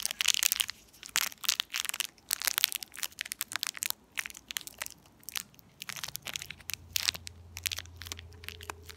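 A small, empty, shiny purple metallized foil-plastic candy wrapper is twisted and crinkled between the fingertips of both hands with long painted nails. Dense bursts of bright, sharp crackles and crisp crunching snap on and off, louder at the start and softer toward the end. A faint low hum sits underneath in the last few seconds.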